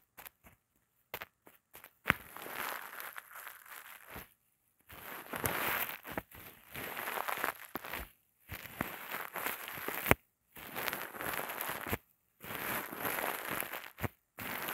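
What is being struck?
Thin plastic bag.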